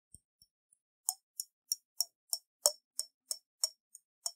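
A round clear glass bottle about half full of water, with a silver metal cap, is held in hands and tilted so the water sloshes while long nails tap its side. Three faint ticks are followed by eleven sharp, bright clicks in a loose, steady rhythm, each dying away almost at once with a slight hollow tone underneath.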